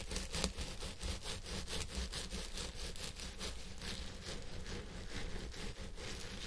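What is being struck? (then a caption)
Synthetic fiber wig on a head form. Fingertips and nails scratch the fibers of a purple synthetic wig on a head form, working both sides. Quick, repeated scratchy strokes make a bright, dry rustle over a steady low hum, with each stroke ending almost at once.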